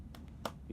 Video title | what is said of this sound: Dell Inspiron i15-909BK - The Black Friday Special | You hear the metal in that, hear the metal in that.